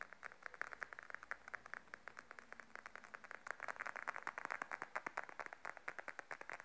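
Long nails tap quickly across the top of a small, closed, glossy beige patent leather wallet lying flat on a table. A rapid, steady run of dozens of short, dry clicks is heard, centered around 1.7 kHz with a slightly bright edge. Each tap stops almost instantly, with no ringing.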